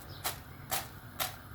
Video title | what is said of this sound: ARADIĞINIZ TARİFİ ‼️DEĞERLİ TAKİPÇİLERİM İÇİN HAZIRLADIM. BU TARİFİM KAÇMAZ. | duyuyor musunuz sesi? Bakın. Nasıl? Çıtır çıtır.